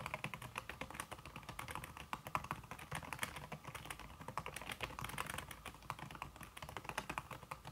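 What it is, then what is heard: Aluminum keyboard with silicone key cover. Fast fingertip typing, by fingers with red-painted nails, on a slim backlit aluminum keyboard whose keys are covered by a red silicone skin. It produces a dense, steady stream of soft, muted clicks and taps with short, dull decay and a low rumble underneath, and no talking.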